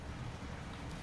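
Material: Nothing is struck.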